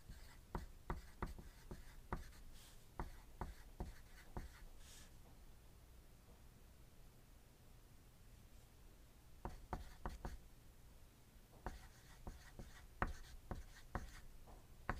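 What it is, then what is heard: Pencil writing on paper. A hand writes steadily with a wooden graphite pencil on a thin white paper sheet lying on a pad, the tip scratching across the paper. It makes quiet, short, sharp tapping strokes with a dull low thump, coming in quick clusters. A hush in the middle breaks them before the strokes resume.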